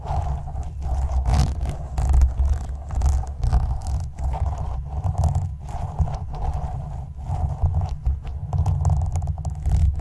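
A translucent plastic spoon held in the fingertips is scraped across the front and top of the black woven metal mesh grille of a condenser microphone's hollow dome. It makes a continuous, rough, low rumbling scrape that swells and dips in bursts, with a faint hollow tone in the midrange.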